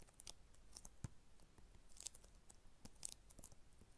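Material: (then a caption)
Plastic. An Xbox 360 game case for Eragon, hollow hard plastic with a cardboard insert, is held in both hands and tapped and scratched with long red acrylic nails. Quiet, sharp clicks and bright scratchy ticks come in an irregular series, each dying away almost instantly, with one duller low knock near the one-second mark.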